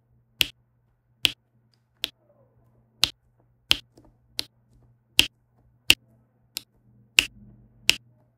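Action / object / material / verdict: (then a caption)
tap / resin drills on an adhesive canvas tapped with a plastic pen / resin / none. A plastic pen with a pink wax tip taps small resin drills into a row on a flat diamond painting canvas with an adhesive backing. Eleven short, bright clicks land at uneven intervals, each dying away almost instantly over a faint, steady low hum.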